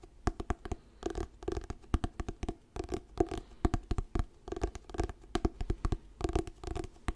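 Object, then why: Paperback book with glossy paper cover. Fingertips tap and scratch the glossy paper cover of an orange "Diary of a Wimpy Kid" paperback book, held solid in both hands. The result is a quick, irregular run of short, dry taps mixed with soft scratching bursts, carrying a low, muted body and almost no bright content.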